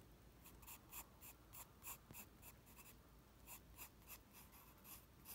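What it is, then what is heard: Pencil drawing on paper. A graphite pencil held in the fingers sketches lines of the Ghostbusters logo on a flat white sheet of drawing paper resting on a desk. The pencil tip makes quiet, bright, scratchy strokes in quick, uneven bursts over a low background hum.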